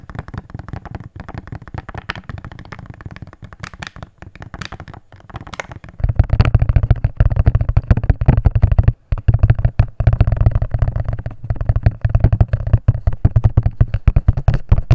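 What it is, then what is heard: Empty plastic jar. A small, hollow, empty, transparent plastic jar is tapped rapidly with fingernails, first on its side and then on its bottom end. Fast, irregular clicks with a hollow, low thud ring out. The tapping grows louder and deeper about six seconds in, with only a brief pause near the nine-second mark.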